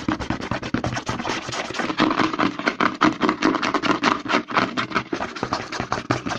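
Short nails and fingertips scratch and rub fast along the side of a white plastic CeraVe lotion bottle held upside down. The result is a dense, irregular stream of quick scraping strokes and light taps with a hollow plastic tone and bright, hissy edges.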